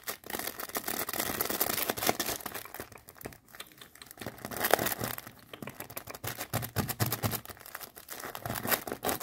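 Long nails scratch and squeeze a bundle of small unicorn-print tissue packs in crinkly plastic wrap. Dense, continuous crinkling and scratching fills the clip, with many quick, closely spaced rustles rising and falling in loudness.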